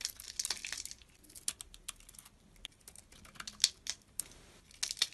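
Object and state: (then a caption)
Bar soap being carved. A small utility blade carves and scrapes chips off a solid dark blue oval bar soap held in the fingers, and blue flakes fall away. Quiet, dry, crisp scraping and sharp, bright cutting clicks come in an irregular sequence, mostly high-pitched with almost no low end.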